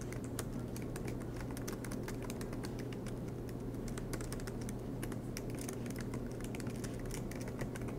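Fingertips tap rapidly on the black plastic keys of an aluminum MacBook Pro laptop in steady, continuous typing. The keystrokes come as a dense run of light, bright clicks over a constant low hum, with no pauses throughout.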